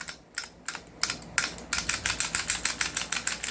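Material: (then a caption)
Metal and polymer. An airsoft rifle of metal and polymer from another shop, loose and not upgraded, is shaken by hand. It gives a rapid series of bright, clicky rattles that speed up and grow louder partway through. The rattling marks it as loose, unlike a comparable unit that does not rattle.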